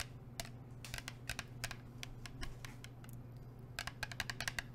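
Long nails tap a blue plastic sports water bottle with a black cap. Quick, irregular bursts of sharp, bright clicks sound like fast typing, with a steady low hum underneath.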